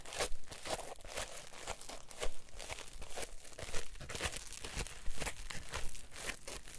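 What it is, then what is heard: Polyethylene foam block. A solid, palm-sized green polyethylene packing foam block is squeezed and rubbed with thumbs and fingertips. It gives a steady run of crinkly, creaking bursts with a dry, low rumble beneath and brief bright crackles. The sound has no ring between strokes.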